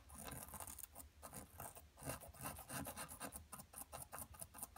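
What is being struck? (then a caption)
Plaster dig block scraped with a metal pick. A thin metal pick with a green handle scrapes and scratches continuously at a solid, palm-sized blue plaster dig block steadied by one hand. It makes a dry, gritty rasp in quick, uneven strokes with a bright, hissy edge and brief dips between them. Blue powder is left on the table.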